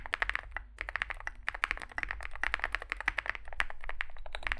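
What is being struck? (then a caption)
Mechanical keyboard with plastic keycaps. Fingertips type continuously on a small Zoom65 65% mechanical keyboard with a dark case and white and grey SA plastic keycaps. A rapid, uneven stream of short, clacky keystrokes peaks in the upper mids with bright edges, each dying almost instantly over a steady low hum.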